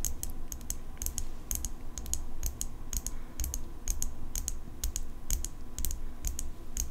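Long pink acrylic nails tap and scratch the steel blade and metal handle of an open folding pocket knife. Quick, bright, dry clicks come in a steady, irregular stream over a constant low hum, each tap dying away almost instantly.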